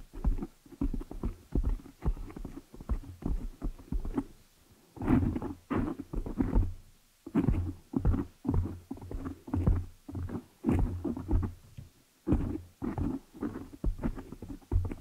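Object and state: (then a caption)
Foam microphone windscreen being scratched. Long nails and fingers scratch and rub the black foam windscreen on a desktop microphone. The result is a rapid series of muffled, low, thumping rustles in short bursts separated by brief pauses, with almost nothing in the high range.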